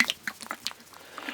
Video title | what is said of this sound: 71. Tinned Pasta Face-Off: Heinz Macaroni Cheese VS Chef Boyardee Mac & Cheese | sloshing around in there because it's almost a soup it's almost a cheese soup with macaroni